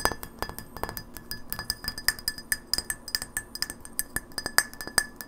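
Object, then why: Glass light bulb. Long nails tap quickly on a small, hollow incandescent light bulb of frosted white glass with a metal screw base, held in the hands. About 32 sharp, bright clinks follow in a rapid, uneven rhythm, each with a brief glassy ring near 1.7 kHz that dies away almost at once.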